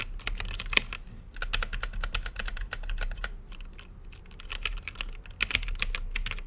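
Fingertips type continuously on a plastic mechanical keyboard with plastic keycaps set on a translucent acrylic case. Fast, bright, short clacks come in bursts over a steady low background rumble, briefly softening and slowing before picking back up.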